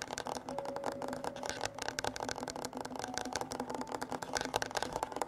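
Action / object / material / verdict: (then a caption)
scrape / wooden tabletop / wood / none. Fingertips and nails scratch and tap across a flat, solid dark-wood tabletop with a recorder lying on it. The result is a dense, fast stream of short dry clicks and scrapes with almost no ring, plus faint steady tones in the background.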